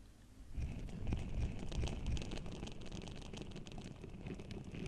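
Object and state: Rubbing on a metal microphone grille.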